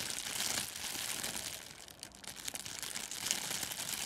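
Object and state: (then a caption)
Crinkled cellophane wrap. A thin sheet of clear plastic cellophane gift wrap is stretched and crinkled by the fingers, then draped over a furry microphone windscreen. Dense, bright crackling and crumpling runs throughout, easing briefly near the middle before picking back up with sharp crinkles.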